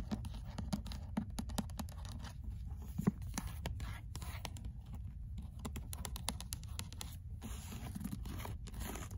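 Fingers rub and flip the paper pages and cover of the same paperback book, with a bead bracelet present. A soft, low, continuous rustle carries through, dotted with many quick, crisp ticks and papery crackles that briefly flash bright. The level stays quiet and even, with one sharper snap near the three-second mark.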